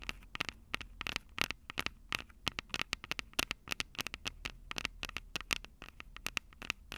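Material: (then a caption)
Metal mesh. Long purple acrylic nails tap and scratch the two small crossed metal mesh mic capsules on the hollow plastic body of a Tascam DR-05 handheld recorder. About 37 quick, sharp clicks come in an irregular rhythm, each dying away at once, with bright, crisp tone centered near 2.7 kHz. Faint scratchy noise fills the gaps between taps.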